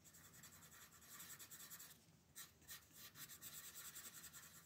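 A red wooden colored pencil rubs back and forth over a thin paper coloring book page resting on a table, shading a dinosaur's legs. Quick, bright, scratchy strokes repeat at a steady rubbing pace, with a brief quieter pause near the middle before the shading resumes.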